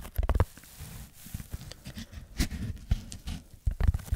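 Fingertips scratch a red textured foam block held just above a microphone. The sound is soft, low and muffled: rustling scrapes and dull thumps come in short bursts over a quiet bed of close scratching, with almost no high sparkle.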